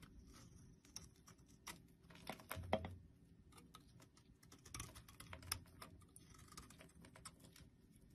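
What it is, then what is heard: Soap bar being carved. A blade shaves and scrapes the embossed surface of a solid orange, palm-sized, star-shaped soap bar held in the hand, and flakes fall off. Quiet, dry, rapid scraping ticks and crisp shaving sounds patter throughout, with bright edges and a louder scrape just before the three-second mark.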